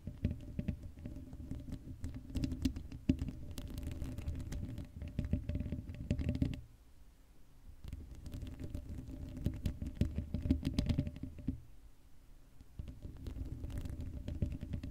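Long acrylic nails scratch the black, hollow metal mesh grille of a Blue Yeti microphone. The result is a dense, rapid patter of scratchy strokes with a heavy low rumble and a faint steady tone near 260 Hz. The scratching eases into quieter stretches around 7 seconds and 12 seconds before picking up again.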